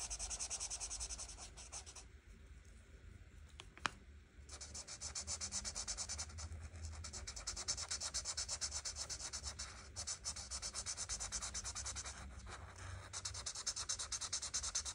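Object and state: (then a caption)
Marker scratching on a paper page. A felt-tip marker, held in a hand with red nails, is rubbed in quick strokes over the petals on a flat paper coloring book page. It makes a steady, bright, scratchy hiss of rapid back-and-forth strokes, with a quieter stretch early on broken by a single sharp tick before the strokes resume.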